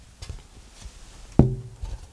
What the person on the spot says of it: this is a piece of very attractive maple it's got some spalting on it and some coloration but it doesn't have that ringing sustaining activity